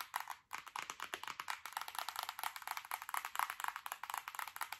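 Long acrylic nails tap quickly and irregularly on the glass screen of a large, solid tablet with a metal frame, about thirty taps in five seconds. Each tap is a short, bright click centered around 1 kHz, with almost no low end and no ring. A brief pause near half a second interrupts the otherwise steady run of taps.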